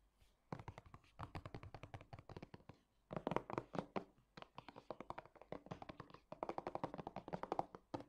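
A hand-sized, hollow Balea Gesichtswasser facial toner bottle of translucent light-blue plastic with liquid inside is held in both hands and tapped fast with fingernails and fingertips. The result is quick runs of dry, clicky plastic taps that die away almost instantly, coming in several bursts separated by brief pauses.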